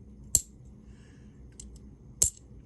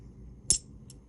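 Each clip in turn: First: clad half dollar, not silver. Second: real silver half dollar.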